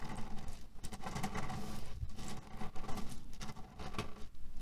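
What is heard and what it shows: A square cotton pillow filled with cherry stones is scratched with both hands' fingertips and rubbed with flat palms, making the pits rattle. The result is a steady, dense, low rattling and shuffling with soft, uneven swells and almost no high or bright content.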